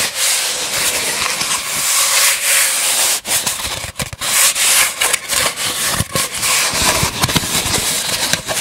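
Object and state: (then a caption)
Empty cardboard tube. An empty, hollow brown cardboard tube, held horizontally in front of a microphone, has its surface rubbed and scratched with fingertips. The result is a steady, bright, papery scratching hiss, broken by brief dips and small uneven bursts as the fingers shift.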